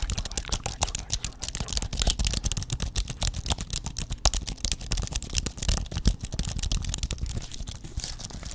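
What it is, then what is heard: Aluminum and plastic computer keyboard. A thin white aluminum computer keyboard with plastic keys is held in both hands while fingertips type and tap quickly on the keys. The result is a dense, continuous patter of short, sharp clicks with bright highs over a soft low thump, and each click dies away almost instantly.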